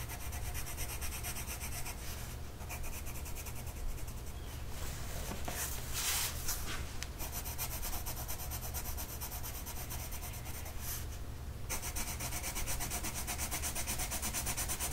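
A blue colored pencil tip rubs back and forth across a flat printed mandala coloring sheet lying on a table and held down by one hand. It makes a steady, dry, scratchy rasp with bright hiss over a constant low hum, and the level stays even throughout with a few slightly louder strokes.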